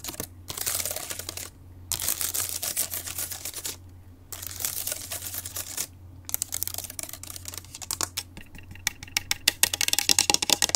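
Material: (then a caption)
Aluminum. Long acrylic nails on one hand tap and scratch the palm rest and keyboard area of an open grey aluminum laptop with its screen on. Bursts of bright, hissy scratching alternate with short pauses, then give way to a run of quick, sharp clicking taps toward the end, over a faint steady low hum.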